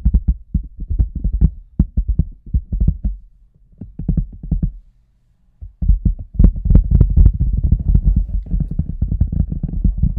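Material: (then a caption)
Rubber. Fingertips and nails tap and scratch the front and sides of an oversized, hollow red rubber boot resting on a table, heard from inside the boot. The sound is deep, muffled thumping in quick, uneven bursts, breaking off briefly near the middle. It returns as a denser, louder run of taps with a soft scratchy rustle on top.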